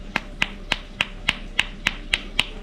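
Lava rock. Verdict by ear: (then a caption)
Porous. A black lava rock used as aquarium filter bio media is knocked nine times in a steady rhythm. Each knock is a short, bright, high-pitched click with almost no ring. The sound shows the rock is light, porous and full of holes and empty spaces inside, not dense like ordinary stone.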